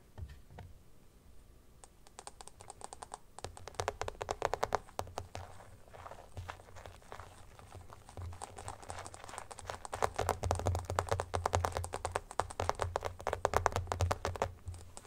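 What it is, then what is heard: Plastic phone case tapped. Fingertips and nails tap rapidly on the back of an empty, transparent plastic phone case with teal glitter, which is then lifted and held while the tapping continues. Quick, dry plastic clicks run in dense, uneven bursts with a soft low thump beneath them. The sound starts quietly and grows louder and busier toward the end.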